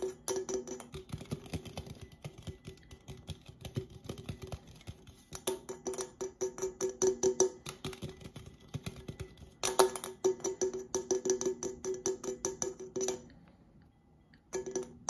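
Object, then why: Aluminum drink can. Fingertips and nails rapidly tap and flick the body of a red Coca-Cola aluminum can, held upright and then tilted sideways to show its top. The result is quick bursts of bright, hollow metallic ticks with a short ring around 380 Hz, broken by brief pauses and a near-silent gap just before the tapping resumes at the end.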